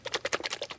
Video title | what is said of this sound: Best Luggage rack for CFMOTO 450MT? | you can hear that one sloshing around inside. This one is a bit thicker, it's a bit more viscous.